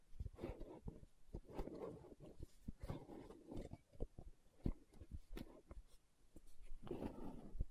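Long nails tap and scratch the lid and side of a green plastic aloe gel tub. A quick series of soft, dull taps sounds over quiet, low, muffled scratching passages.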